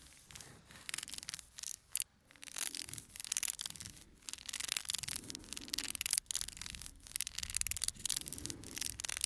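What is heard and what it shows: A full, small cardboard playing card box is held in one hand while fingertips and nails rub and scratch its printed cardboard face. The result is a dry, bright scraping and scratching texture in uneven bursts, with brief pauses and a few sharper scratches.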